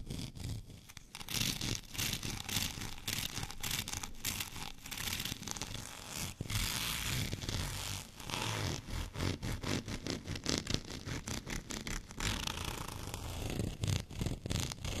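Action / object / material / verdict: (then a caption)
scrape / plastic rolling pin with a bumpy surface / plastic / none. Fingernails of both hands scratch over a white, bumpy plastic rolling pin, making a rapid, dense run of bright, raspy scraping strokes. A longer, steadier rasp stands out around the middle before the quick, choppy scratching resumes to the end.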